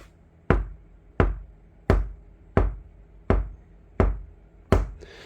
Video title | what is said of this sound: 카오디오 튜닝. 재료 고유 주파수 특징, 스피커 인클로저 튜닝, 스포티지 nq5 패리 카오디오 작업 2-5 Car audio tuning Material Frequency | 약간의 저음이 이제 들리고 어 금속 성분은 금속 성분이 됐다라는 느낌은 전혀 없죠